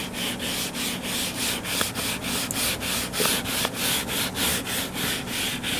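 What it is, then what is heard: Hardcover book being scratched. Fingernails scratch and rub the cover of a closed, solid hardcover book lying flat on a table. A steady, rhythmic series of bright, hissy scraping strokes repeats back and forth, with a few faint sharp ticks mixed in.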